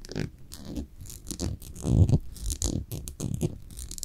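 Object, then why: Small glass cosmetic jar with paper label. Long nails scratch along the white label and glass surface of a small amber glass cosmetic jar held up close. The result is a run of short, dry scraping strokes with a muffled, low-heavy body and faint bright hiss, each stopping quickly with almost no ring.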